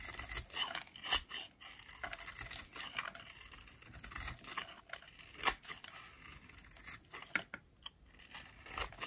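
A pink, oval, solid dry soap bar is scraped with a metal blade by a hand with long nails, and brittle flakes break off. The sound is a steady, bright, dry scratching and crackling with sharp crisp snaps scattered throughout, mostly high in pitch with very little low end.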